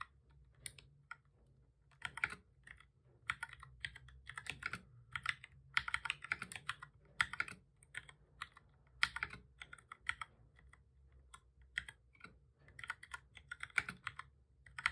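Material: Plastic.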